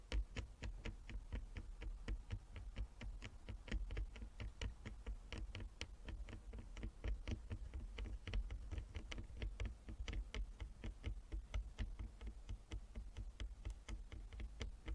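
A flat wooden chess board with inlaid squares is tapped rapidly with the long nails of both hands. The result is a steady stream of short, dry clicks with a bright edge and almost no ring, over a low, constant hum.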